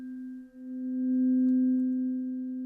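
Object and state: Nothing is struck.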